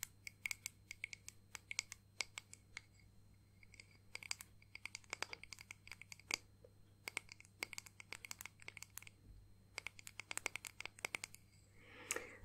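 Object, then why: Small flat acrylic disc ornament. Long painted nails tap and scratch a small, flat, solid clear acrylic disc ornament decorated with pressed flowers and "Nana" lettering. The result is quiet clusters of rapid, sharp, bright clicks that cut off almost instantly, centered around 2.2 kHz, over a faint steady low hum. The clip ends with a brief, soft scratching swell.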